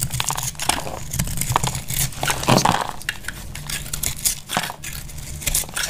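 A box-cutter blade slices and scrapes brittle flakes off the cut face of a solid, dry, palm-sized lilac soap bar held in the hand, while thin curls break away. The sound is a dense run of dry, crisp crackles and scrapes with bright, sharp snaps over a steady low hum, and each one dies away almost at once.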